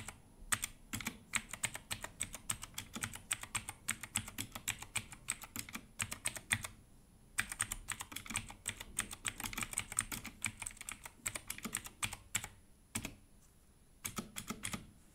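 Gloved fingertips type fast on a compact Redragon mechanical keyboard with an orange case and plastic keycaps. Rapid, bright, sharp clicks and clacks come in quick bursts, with short pauses near 7 and 13 seconds.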